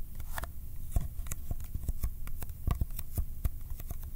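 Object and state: Cardboard film box.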